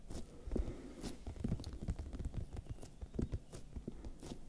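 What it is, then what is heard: Bell pepper tapped and scratched. Fingertips and nails tap and scratch the smooth, waxy skin of a large, whole, hollow red bell pepper held in one hand close to the microphones. Soft, dull, low thumps mix with faint brushing and scratching at a quiet level, and each tap dies away almost at once.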